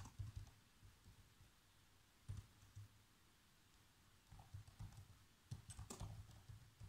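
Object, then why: Plastic laptop keyboard. Fingertips with short nails type fast across the keys of a black plastic chiclet laptop keyboard. The result is quick, soft, low-weighted tapping with a few brighter clicks. The taps come in uneven bursts with short pauses between them.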